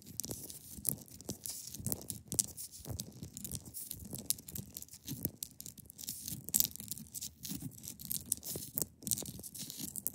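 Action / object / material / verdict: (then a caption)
scrape / block of ice / ice / none. A large, solid, clear ice block resting on a fabric surface is scratched and picked at along its top with long pointed nails. The sound is a quiet, continuous run of dense, dry scratching and crackly ticks, mostly bright and high with a soft low rumble underneath, and each sound stops almost instantly.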